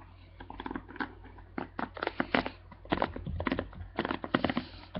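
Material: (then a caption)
Plastic. Fingers and nails scratch and flick the dense plastic bristles of a black plastic paddle hairbrush held up close. It makes irregular bursts of soft, crisp crackling and scratchy clicks over a low steady hum.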